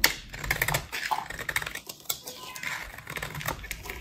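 A solid, pale pink, rectangular bar of dry soap embossed "PURE" is held in one hand and shaved with a metal utility-knife blade, so white powdery shavings fall away. Rapid, dry, crisp scraping and cutting ticks with a bright, high hiss follow one another in quick bursts.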